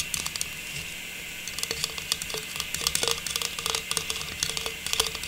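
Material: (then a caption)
Plastic. A small, hollow, faceted silver metallized plastic star tree topper, held in both hands, is tapped rapidly with long pink nails. The taps sound crisp, bright and clicky over a faint hiss, with a light hollow plastic tone and almost no ring. After a brief quieter stretch near the start, they come in quick, uneven bursts.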